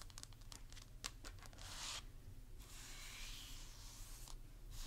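Long pink acrylic nails on both hands tap and scratch the face and cheeks of a hollow, life-size plastic or vinyl mannequin doll head with a curly blonde wig. Quick, bright clicking taps come first, followed by longer scraping and brushing swishes over a low, steady hum.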